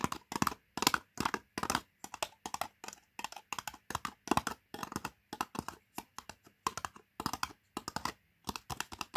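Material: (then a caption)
Plastic, foil. Long painted nails and fingertips tap the printed foil-paper lid of a sealed, likely full, medium-size plastic Pot Noodle cup standing on carpet. Quick clusters of light, crisp clicking taps with a papery rattle centered around 1 kHz, each dying almost instantly, with brief silent pauses between groups.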